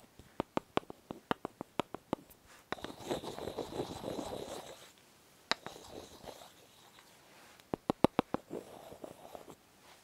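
Long nails tap and scratch a small, solid white bar of soap that is partly wrapped and held in the hands. A run of quick, crisp clicks gives way to a rough, rustling scratch, then a single tap, a softer scratch, a few more sharp taps and a final bout of scratching. The clicks are short and dry, with no ring.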